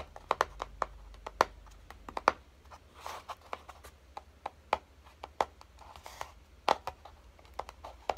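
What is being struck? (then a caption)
Small cardboard box. Fingertips and short nails tap the top and edges of a small, hollow, closed kraft-cardboard box resting on a dark table. The result is an irregular series of short, dry, hollow taps centered in the midrange around 1 kHz, some sharper and louder than others. A brief soft scratchy rustle comes between taps near the three-second mark.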